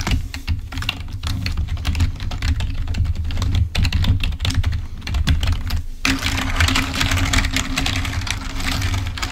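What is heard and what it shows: A full-size black plastic Microsoft wired membrane keyboard, lying on a white table, is typed on rapidly with the fingertips, producing a dense stream of quick plastic key clicks. A steady low hum runs underneath, and after about six seconds the clicking takes on a brighter, hissier texture.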